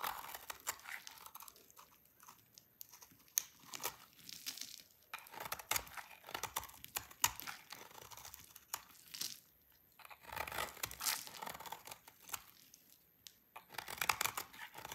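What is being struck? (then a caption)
Bar of soap scraped with a knife blade. A utility knife blade scrapes a solid, dry pink soap bar, shaving off crunchy curls. The clip is a run of dry, crisp scraping and crackling bursts, bright and thin with almost no low end, separated by short quiet gaps.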